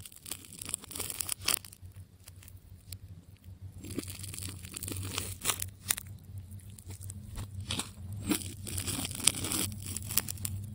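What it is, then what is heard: Wound plastic tape ball being cut. A metal scalpel cuts and scrapes through the layers of plastic tape on a striped, solid wound tape ball. Crisp, bright crunches and short tearing scrapes come in quick irregular bursts over a steady low hum, each one dying away almost instantly.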